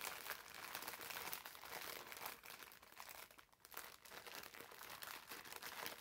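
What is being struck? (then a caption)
Foam sponge in thin plastic film. A green foam bath sponge wrapped in clear plastic film is pressed between the palms and squeezed. The wrapper gives off a steady, dense crinkling, bright and hissy with almost no low end. It dips briefly near the middle before the crackling picks back up.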